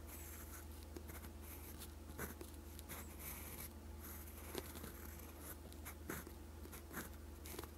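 A steel fountain pen nib scratches continuous strokes of Korean letters in green ink across a sheet of lined writing paper. Soft, bright scratching runs steadily over a constant low hum, with small clicks and taps where the strokes break.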